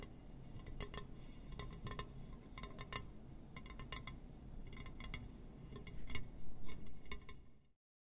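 Fingers tap and scratch on a glass surface, giving short, bright clinking ticks in quick irregular clusters over a steady low rumble. The taps grow louder near the end before the sound cuts to silence.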